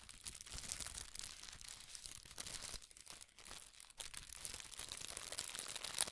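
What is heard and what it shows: Red tissue paper is scrunched, pulled open and flattened between both hands, producing a continuous, bright, high crinkling with soft crackles. The sound is quiet and dense throughout, with a brief dip near the middle before the rustling picks back up.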